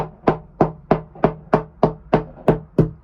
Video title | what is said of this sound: 😭When ONE problem turns into TEN!! *MORE HOLES* - 37 Year Old Hallberg Rassy 352 -Sailing Joco EP94 | it sounds Hollow it's just right here but yeah basically surrounding this beam